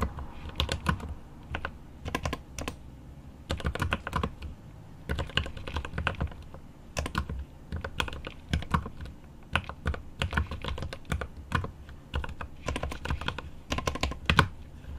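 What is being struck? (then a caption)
Mechanical keyboard with plastic keycaps and aluminum case. A mechanical keyboard with plastic keycaps on an aluminum case is typed on with the fingertips of one hand. Rapid key taps come in quick bursts with short pauses between them. Each tap is a short, crisp click with a low thock and bright clatter on top.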